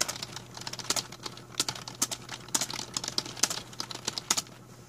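Fingertips type on a full-size black plastic A4Tech membrane keyboard with a hollow plastic body, resting on a blue mat. Quick, bright, clicky keystrokes come in an uneven run, each dying away almost at once, over a faint steady low hum and some possible background noise.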